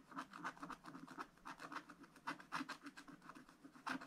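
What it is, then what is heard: Scratch-art paper being scratched. A wooden stylus scratches strokes into a scratch-art paper page with a black wax coating, working on the right side of the picture. A quiet, dry rasping comes in a quick, uneven series of short strokes, each a brief scratchy burst with a bright edge and no ring afterward.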